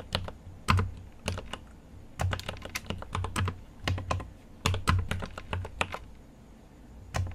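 Fingertips type in uneven bursts on a GMMK Pro mechanical keyboard with an aluminum case and plastic keycaps. Each keystroke is a sharp, bright click over a deep, low thock, and pauses fall between the runs of typing.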